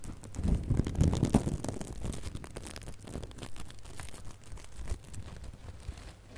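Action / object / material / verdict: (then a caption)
scrape / glitter ribbon bow / glitter ribbon / none. Fingertips and nails rub and scratch a small gold and red glitter ribbon bow held close to the microphone. Soft, rapid scratchy crinkling comes in irregular bursts, heaviest and loudest in the first second and a half, then settles into quieter, steady rustling.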